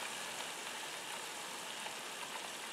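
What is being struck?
Nothing is struck.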